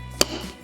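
The magnetic clasp on a Louis Vuitton Dauphin leather handbag is snapped shut, making a single sharp, bright click that fades almost at once. The clear click shows the magnet pulls in and locks firmly despite looking loose, so contents won't fall out and hands can't get in to steal.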